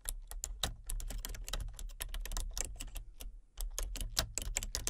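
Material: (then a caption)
Plastic. Fingertips with long nails tap rapidly on a full-size plastic computer keyboard with color-changing backlit keys and a hollow body. The result is a quick run of sharp, bright clicks over a steady low hum, with a brief pause just before the typing picks up again.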